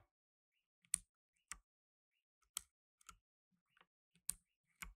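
Gloved fingertips in blue nitrile press keys on a solid black tenkeyless mechanical keyboard with plastic keycaps resting on a dark mat, with a microphone in front left untouched. Six sharp, bright plastic clicks stand out, spaced unevenly, each with a short low thock beneath it and almost no ring. Fainter ticks fall between them in near silence.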